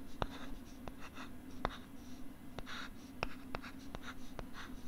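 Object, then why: Plastic LCD writing tablet and stylus. A stylus scratches and writes on a pink plastic LCD writing tablet held close to the left side of the microphone. Sharp, bright taps are scattered among soft, hissy strokes over a steady low hum.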